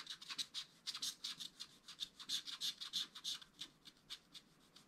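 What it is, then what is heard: Scratch-art paper being scratched with a wooden stylus. A wooden stylus scratches the black wax coating of a small spiral-bound scratch-art paper pad in a quick, uneven run of roughly two dozen short strokes. Each stroke is a dry, bright, raspy scrape with no low end, fading almost at once.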